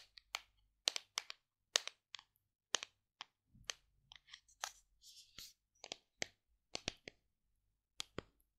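Long decorated nails tap the lid and sides of a large, hollow white plastic collagen tub, giving sharp, bright clicks that die away almost instantly. Many separate taps come in an uneven rhythm, with a few softer brushing scratches between them.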